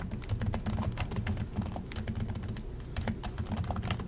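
Fingertips of both hands type continuously on the plastic chiclet keys of an Acer laptop, producing a steady stream of quick, dry clicks and taps. The clicks carry bright, high clatter over a low, thumpy body, and each keystroke dies away almost at once.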